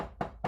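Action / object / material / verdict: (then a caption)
tap / table / unknown / none. A table is tapped by hand to show that a sound can be made without breathing. Two short, dull taps are heard about a quarter second apart, each a muted knock centered in the low-mids around 680 Hz with little brightness and a very brief decay.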